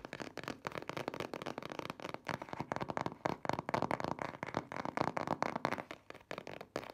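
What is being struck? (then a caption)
Printed cardboard box. Fingernails and fingertips tap and knock on the front panel of a printed cardboard box for a car cover, standing upright on a table. The result is a rapid, uneven stream of dry, papery clicks and soft knocks, centred in the mids with little low end. Each hit dies away almost instantly, giving a crackly texture.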